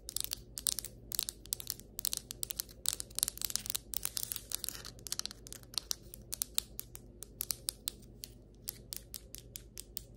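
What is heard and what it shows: Long white acrylic nails tap and scratch the surface of solid ceramic floor tiles. A rapid, irregular stream of sharp, bright clicks mixes with dense scratching bursts, each click dying away almost instantly. A faint, steady low hum runs underneath throughout.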